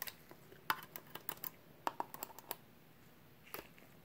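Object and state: Sheet-metal hard drive caddy.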